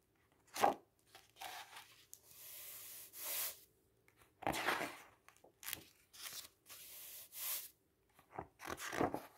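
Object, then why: Printed paper brochure. A hand turns the pages of a large white printed paper brochure lying open on a table and sweeps its fingertips across the paper. Sharp, crackling page flips alternate with steady, bright brushing hisses as the fingers slide over the surface. Each sound stops quickly and is followed by short pauses.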